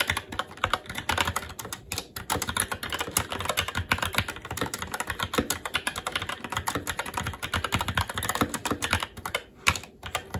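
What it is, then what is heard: Mechanical keyboard being typed on. Fingertips of both hands type continuously on a SteelSeries Apex 7 TKL mechanical keyboard with red linear switches, plastic keycaps and a metal top plate. The result is a steady, dense stream of short, crisp clicks and clacks with bright tops and a light low thump under each key, each stroke dying away almost at once.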